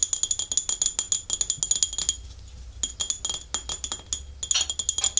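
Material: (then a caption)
Porcelain. Long fingernails tap and scratch the glossy underside and foot ring of a small, empty white glazed porcelain dish with a scalloped rim, held upside down in both hands. Rapid, bright clicking taps with a thin, high ringing tone come in quick bursts, separated by a short stretch of softer scratching.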